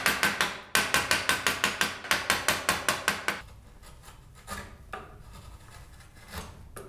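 A wide steel chisel pares the hood and edges of a hollow hardwood toy car body held in the hand, making a fast run of about 18 sharp, bright scraping strokes in a steady rhythm. The cuts then give way to softer, quieter scrapes with a few faint swipes.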